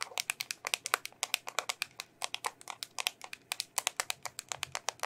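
Long nails tap and scratch the lid and sides of a small, hollow, round red plastic bubble tape container. Dozens of quick, sharp, bright clicks follow one another in an uneven rhythm over five seconds. Each tap is crisp and dry, with almost no ring.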